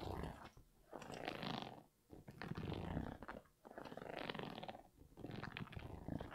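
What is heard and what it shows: Fingers and nails scratch the rubber sole of an empty grey Yeezy 350 V2 sneaker with a knit upper, held upright. Soft, dry, rasping scratches come in five bursts separated by brief quiet gaps, with a low rumbling undertone.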